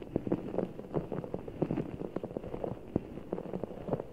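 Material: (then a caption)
Rubber, water gel. A full, large, soft ball of blue water gel beads in a clear rubber skin is held over the mic while fingertips squeeze it. The squeezing produces a steady stream of short, soft squishing clicks and muffled pops in the low-mid range, with no bright highs. The clicks come quickly, one after another, over a faint background.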